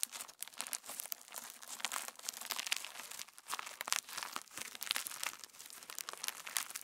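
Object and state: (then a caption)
Sequin slime being kneaded. Pink PVA slime with plastic star sequins is held in both hands and kneaded, folded and squeezed with the fingertips. It gives a dense, continuous run of crunchy, crackling sequin crinkles, bright and high with almost no low end.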